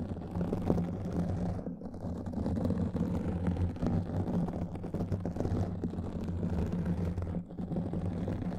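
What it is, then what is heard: Foam microphone windscreen being scratched. Long nails scratch quickly across a black foam windscreen on a microphone. The result is a dense, muffled, rumbling scratch with a steady low hum underneath and fine crackle throughout, with a brief dip near the end.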